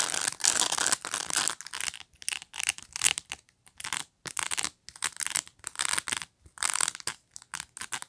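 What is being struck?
Plastic bristle pet brush.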